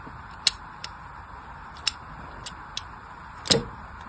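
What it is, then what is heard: Bar soap being scored with a blade. A solid pink bar of soap is rotated in the hand and scored with a thin carving blade making line cuts. Six short, bright, crisp ticks sound over a steady faint hiss, and the last one is the loudest, with a brief trailing scrape.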